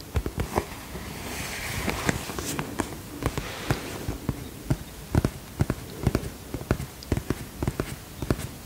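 Fingertips tap on the plastic surface of a holographic polka-dot vinyl cosmetic pouch held in both hands, making about two dozen short, dull, low-heavy taps in an uneven rhythm. Soft rustling hiss rises between the taps early on.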